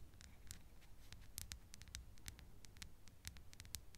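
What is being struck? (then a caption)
Small glass perfume bottle, partly filled. A small glass perfume bottle, partly filled with yellow-green liquid, is held close to the microphone and tapped and scratched with long acrylic nails. Quick, sharp, bright ticks and clicks come in an irregular stream with almost no ring, over a quiet low rumble.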